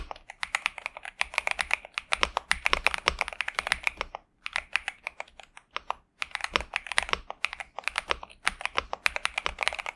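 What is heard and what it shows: A pink and purple 65% Xinmeng M71 mechanical keyboard with TTC Superman switches and plastic keycaps sits on a desk mat while both hands type continuously with their fingertips. The result is a rapid stream of crisp, bright, clacky keystrokes around 2.4 kHz that stop quickly with almost no ring or low-end thump. The typing briefly thins out around the middle before resuming at full pace.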